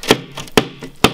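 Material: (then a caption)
Gypsum board. A hammer strikes a high-density reinforced Habito gypsum plasterboard five times, each blow a short, dry thunk with almost no ring, alternating louder and softer. The board withstands the repeated strikes and is left with only a very light mark, unlike the standard plasterboard the hammer went through.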